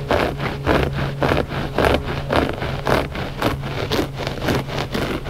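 Both hands scratch the surface of a gray looped-pile carpet rug with short nails and fingertips. Rhythmic bursts of dry, rustling scratching come in a steady back-and-forth pattern, roughly twice per second. A constant low hum sits underneath.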